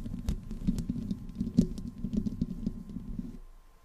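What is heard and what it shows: Long nails on both hands scratch the hollow metal mesh grille and the sides of a black desktop microphone's body. The result is a dense, close, low-toned patter of rapid scratchy ticks and taps, with a faint steady tone humming underneath. The scratching fades out in the last half second.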